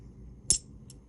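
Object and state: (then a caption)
Real silver half dollar. A 40% silver Bicentennial half dollar, weighing 11.5 g, is dropped onto another coin and gives one sharp, very high-pitched clink with a brief bright ring that fades quickly. Its pitch is much higher than a clad coin's, which marks it as real silver, though this test is not always reliable.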